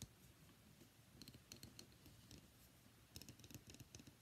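A palm-sized, solid cream-white rectangular bar of soap with embossed lettering is held in one hand and tapped and scratched with long fingernails. Quiet, dry clicking taps come in two loose clusters over a soft scratching bed, each tap pairing a bright crisp tick with a dull low knock that dies away almost at once.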